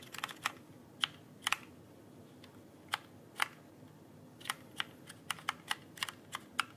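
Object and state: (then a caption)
Plastic mechanical keyboard. Fingertips tap and press the plastic keycaps of a backlit mechanical keyboard held upright, producing about fifteen sharp, bright clicks spaced irregularly over a quiet background. Each click is very short with almost no ring, and its energy sits mostly in the upper range around 3 kHz with little low end.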